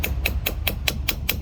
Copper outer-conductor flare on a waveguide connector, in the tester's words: you should hear the difference between like a thud and a hollow sound